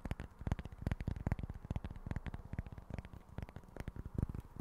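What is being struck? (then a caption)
Small cork board. Fingertips and short nails tap and scratch the face of a small, flat, solid cork board held in both hands. The result is a quick, irregular run of soft, dull, low-pitched taps with almost no ring, set against a faint scratchy hiss.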